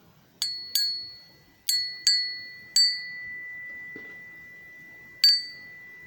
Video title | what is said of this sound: A Blacksmith's Dictionary , Identifying Lead alloys , Tin Zinc Pewter , Babbit Bismuth , Pot metal | that high pitched clear ring is a sign that the aluminum is much harder than something like the pewter